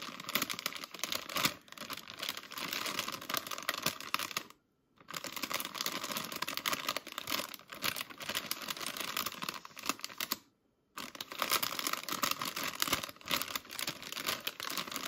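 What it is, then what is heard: Grapes in a plastic bag. Long acrylic nails tap and scratch a medium, full, flexible plastic bag of red table grapes, producing dense, bright crinkling and crackling with many quick taps. The sound runs almost continuously, broken by two brief silent gaps, near 4.5 and 10.5 seconds.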